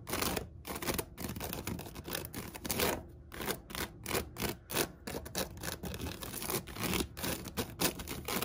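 Long nails scratch and tap across the braided seagrass upper band of a large, hollow woven basket with a white cotton rope base. The result is a rapid, continuous stream of dry, crackly scrapes and light taps, with a crisp bright rustle and short, quickly fading bursts.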